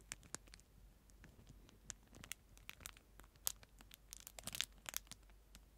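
A clear plastic disposable spoon, about 15 cm long and sealed in a thin clear plastic film wrapper, is held in the hand and crinkled and scratched with the fingertips, first right at the mic and then away from it. It gives quiet, irregular, bright crinkling and crackling snaps with short tearing-like rustles, each dying away almost instantly over a faint low background hum.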